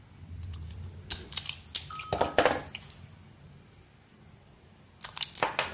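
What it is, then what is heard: Soap bar being carved. A small metal blade carves a bright green solid soap bar with embossed lettering, held in the hand, exposing the white soap beneath. Crisp, bright scraping and cutting clicks come in an uneven cluster, fall to a quiet pause, then return in a second short burst.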